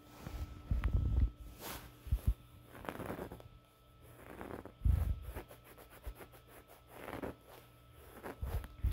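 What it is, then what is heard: Knit fabric throw pillow. A red knit throw pillow with a white reindeer pattern, soft and stuffed, is held against the chest while fingertips and short nails scratch and rub its knitted surface. Muffled, low scratching and rubbing swells come in uneven bursts with soft thumps, separated by quieter stretches of faint fabric friction.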